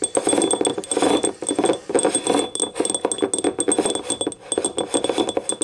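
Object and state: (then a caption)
Ceramic cup tapped with nails. Long nails tap rapidly on the ribbed side and rim of a small, hollow, empty yellow ribbed ceramic cup. The result is a dense run of quick, bright clinks that come in uneven bursts.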